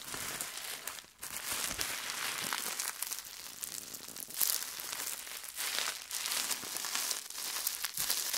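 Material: Plastic.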